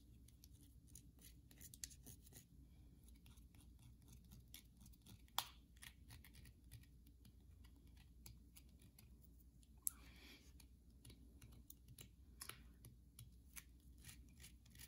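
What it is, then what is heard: Bar soap. Long nails scratch and tap a solid white bar of soap held in the hand. Quiet, crisp, bright clicks and scrapes sound over a steady low hum, with a few sharper taps standing out.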